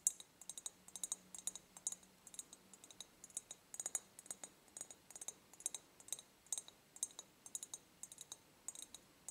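A medium, empty, ribbed clear glass jar is held tilted and tapped quickly on its ribbed glass with long nails. The result is a steady run of dozens of short, bright clicks with a faint glassy ring that dies almost at once, heard over a quiet, low background hum.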